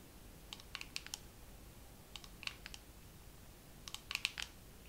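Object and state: Dermaroller case.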